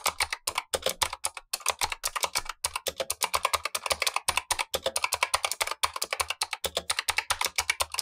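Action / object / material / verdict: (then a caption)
tap / plastic mechanical keyboard / plastic / none. Blue-gloved fingertips type steadily on a Razer Huntsman V2, the lower of two keyboards, with black plastic keycaps and clicky switches. About 63 crisp, bright, dry clicks follow in quick succession with almost no low end, and each click dies away almost at once.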